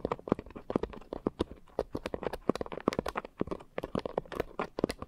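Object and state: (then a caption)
Foam scrub sponge. A pink coarse foam scrub sponge is scratched with long nails and then squeezed at the edges. The result is a rapid series of dry, crackly scratches and short crunches, each dying away instantly. The sound is close and fairly quiet, with its body in the low mids and faint bright tips on each scrape.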